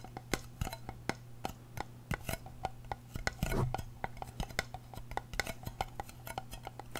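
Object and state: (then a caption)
Aluminium tin tapped with nails. Long painted nails tap and scratch the rim and lid of a small, round, hollow silver aluminum tin. A rapid series of sharp, bright metallic clicks with very short ring plays over a steady low hum, with a longer scratching rub near the middle.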